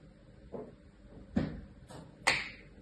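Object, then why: Kinetic sand in a plastic tray. A fingertip and a thin tool trace lines through a flat layer of tan kinetic sand pressed into a light green plastic tray with cookie-cutter shapes, scratching and cutting the surface. The strokes are quiet, soft, grainy scrapes with brief rises, and the last one is a sharper, brighter scratch that fades quickly.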